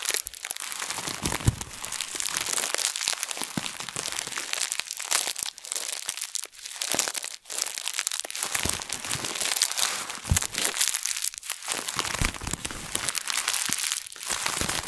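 A crumpled thin plastic bag is pressed and squeezed by both hands over a table, giving a steady, bright, crackling crinkle for about 15 seconds. The sound has brief dips between squeezes and almost no low end.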